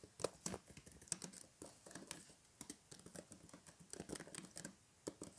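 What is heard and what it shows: Fingertips of both hands type rapidly on the hollow plastic keys of a blue plastic keyboard or laptop in a case, resting on a table with fairy lights. A quiet, uneven run of short, dry clicks and taps follows, each stopping almost instantly, with a bright top and a mid-toned body.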